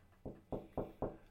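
A sourdough loaf is knocked four times, giving short, dull, hollow thumps centered around 400 Hz that die away quickly. The hollow sound shows the loaf is baked through: its air cells hardened during baking and held the fermentation, so the bread rose and sounds empty, whereas an unbaked loaf would sound full.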